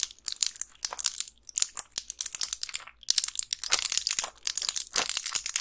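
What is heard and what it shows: Long pink nails press and crush the plastic bubbles of a small, flat, clear plastic blister pack with a foil backing, its cells filled with colorful round candies. Dense, bright crinkling and crunching crackles come in bursts, with brief pauses in between, and there is almost no low end.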